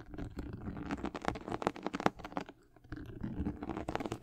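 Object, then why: Leather sneaker upper. Long nails scratch the white leather and glossy patent leather upper of a high-top sneaker, making a rapid run of short, dry scraping clicks. The scratching pauses briefly near the middle, then picks back up.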